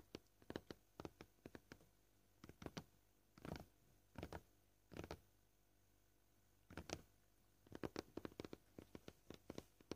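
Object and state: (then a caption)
Plastic cutting board tapped with fingernails. Short purple-painted fingernails tap on a flat, solid, scratched white plastic cutting board. Many quiet, dry clicks with almost no ring come in uneven bursts and pauses, shifting between quick clusters and slower single taps.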